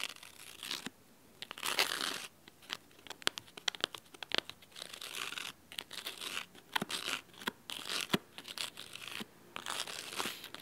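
Fingernails scratch the cloth spine and cover edge of a large, thick, red fabric-covered hardcover book set at an angle. The result is crisp, bright, dry scratching in irregular bursts with sharp tick-like taps, separated by short quiet gaps, with almost no low end and no ring.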